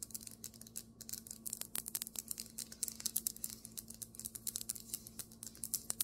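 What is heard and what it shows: Both hands tap and scratch fast on a flat, solid white marble table top with long nails and fingertips. The result is a rapid, continuous stream of sharp, bright clicks and scratchy ticks that die away almost instantly, with a faint steady hum underneath.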